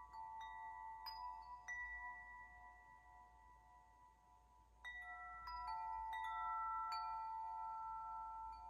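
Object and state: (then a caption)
Metal tube wind chime. A large hollow metal tube wind chime, held up by one hand and gently swayed, sounds as its tubes strike and ring. Clear metallic tones centered near 900 Hz overlap with bright upper partials and sustain for a couple of seconds after each strike. A faint low hum sits underneath, and the ringing grows denser and louder in the second half.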